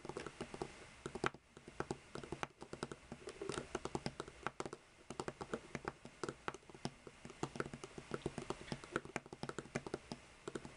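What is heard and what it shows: Long painted fingernails of both hands tap and scratch the caps of seven identical hollow plastic Copic alcohol markers lying side by side on a white table. The result is a steady, rapid patter of short, dry plastic clicks that die out almost instantly, mixed with light scratching, like fast typing on a keyboard.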